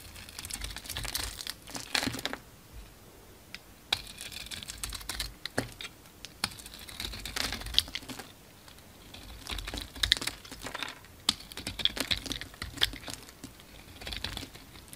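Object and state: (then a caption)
Bar of soap being shaved. A utility knife blade scrapes and shaves curled flakes off a solid purple soap bar with a dark speckled coating, held in the hand. Dry, bright crinkling and scratchy scraping come in bursts of quick strokes, with short quiet gaps between passes.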